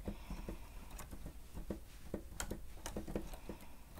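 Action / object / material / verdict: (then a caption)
tap / plastic stenotype machine keys / plastic / none. Both hands type on the keys of a plastic stenotype machine with their fingertips, producing quiet, clicky taps in an irregular patter. The taps are mostly dull and low, with a few sharper, brighter clicks mixed in over a soft steady background.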